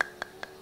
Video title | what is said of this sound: Adiguru Wau En Samat Man | kita padat kita basah bunyi, kita ketuk. Macam ni memang dia ada kualiti lah.